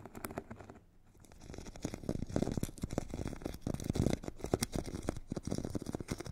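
A metal stick tip scratches and taps the purple abrasive grit layer of a solid hand-held foam foot file with a white foam core. Dense, rapid, gritty scraping and soft taps are heard, mostly low and muffled with little brightness, with a brief quieter pause near the one-second mark before the scratching builds again.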